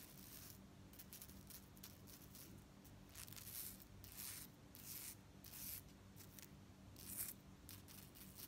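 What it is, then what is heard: Metal chain fringe necklace. A beaded gold-tone metal necklace with long metal chain fringe is held up by hand while nails rake through and jiggle the chains. Soft, bright metallic jingling and scratchy rattling come in repeated bursts over a steady low hum.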